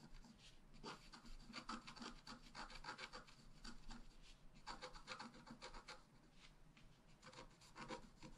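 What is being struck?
Coated scratch-art paper card with wooden stylus.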